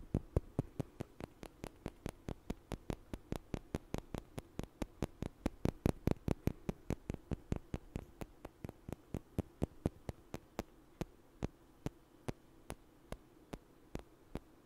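Two small, solid, light wooden blocks are knocked together and tapped with fingers close to the mic, giving about 58 short, dry, sharp knocks over a low steady hum. The knocks come quickly and unevenly at first, then grow sparser and more spaced out toward the end.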